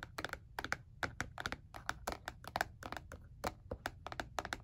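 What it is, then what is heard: Plastic calculator back. Fingertips tap quickly and irregularly on the grooved back of a black, hollow, hard plastic calculator lying face down. The 23 light, dry, clicky taps each stop almost instantly, with a hollow tone around 1.5 kHz and some bright edge. A low, steady hum sits underneath.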